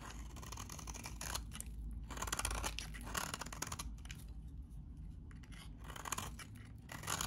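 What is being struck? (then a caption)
Bar of soap scraped with a metal blade. A metal utility blade scrapes and cuts the surface of a very dry, solid salmon-orange vintage bar of soap held in the hand. It makes a steady run of crisp, gritty scraping and crumbling bursts with bright, hissy texture over a low background rumble.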